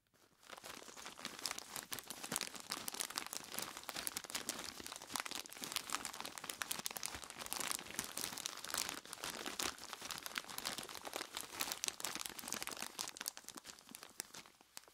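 Dark-gloved hands squeeze and crunch a large clear plastic bag full of ice cubes from both sides. A dense, continuous stream of bright crinkling and crunching fills about 15 seconds, with sharp, short-lived cracks of shifting ice over steady plastic rustle and almost no low end. It fades in at the start and tapers off at the end.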